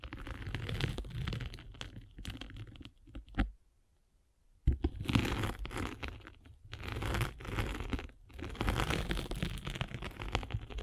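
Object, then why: Abrasive foam sanding sponge rolled with a metal-spiked roller. A metal-spiked derma roller is rolled back and forth across the grey abrasive face of a solid abrasive foam sanding sponge block held in the hand. It makes a dense, crunchy, crackling rasp with a heavy low rumble, coming in bursts. The sound stops for about a second near the middle before the rolling picks up again.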